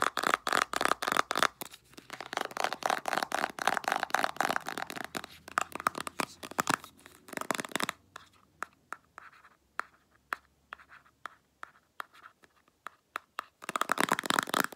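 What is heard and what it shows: Long black acrylic nails scratch and tap rapidly along the printed body of a full-looking Clearasil 150 ml soft plastic squeeze tube of face wash held in the hand. Dense, crisp scratching and clicking fills the first half, thins to sparser separate taps, then returns to quick, busy scratching at the end.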